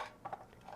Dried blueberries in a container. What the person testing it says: berries should be dried until they rattle when shaken